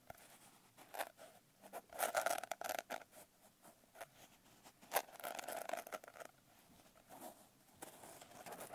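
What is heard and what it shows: Long nails scratch and tap across the coarse blue glitter cover of a medium notebook, producing dry, gritty rasps mixed with brief, crisp taps. The sounds come in short irregular bursts with a bright, hissy edge and no low rumble, and each stops almost instantly with no ringing.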